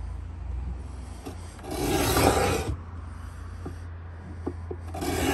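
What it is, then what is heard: Pine wooden box. A Stanley 66 metal beading scraper, held in both hands, is drawn along the corner edge of a pine wooden box. Raspy, bright scraping strokes rise out of a steady low hum, with a long stroke in the middle and another building at the end, and faint clicks between them.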